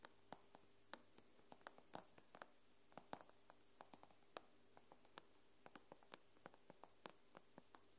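Fingernails tap and scratch the glass screen of an iPad near its edge, making about thirty quiet, sharp clicks with bright edges that stop almost instantly. A faint, steady low hum sits underneath.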